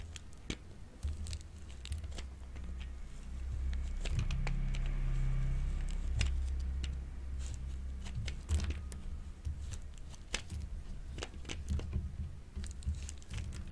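A solid, hand-sized pink bar of dry soap is held in the hand and shaved with a grey-green plastic grater with a metal blade, making repeated scraping strokes. Sharp, crisp scrapes and clicks ring out over a steady low rumble, while pink curls collect in the tool.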